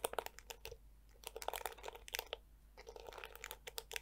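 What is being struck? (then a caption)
Plastic detangling hair brush. A handheld black plastic detangling brush with flexible yellow plastic teeth is scratched and flicked by long nails, which also tap its hollow plastic back. Bursts of dry, bright clicks and crinkly scratches come in quick clusters with short quiet gaps, each tick dying away almost instantly.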